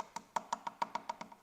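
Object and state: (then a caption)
Hollow, delaminated fiberglass skin at a fastener hole. Around a fastener hole, the fiberglass skin of a boat transom is tapped about ten times in quick, evenly spaced taps. Each tap gives a short, dry knock with a hollow tone near 930 Hz. The hollow sound shows the glass has not stuck to the core there and needs to be repaired.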